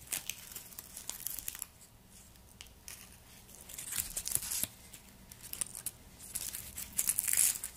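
Fingertips in black nitrile gloves rub and peel the dry, papery outer skin of a whole, solid, hand-sized white garlic bulb. Soft, bright crinkling and tearing comes in irregular bursts, with quieter pauses between them.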